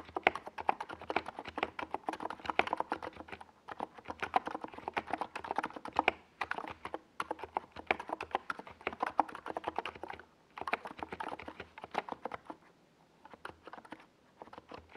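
A compact 68-key NiZ Plum Atom 68 mechanical keyboard, with a white plastic case and purple and yellow Domikey Gas Attack SA plastic keycaps, sits on a desk pad while the fingertips of both hands type fast across the keys. The result is a rapid stream of short, dry plastic clacks centered in the midrange with some bright top, broken by brief pauses near 3.5, 10.5 and 13 seconds.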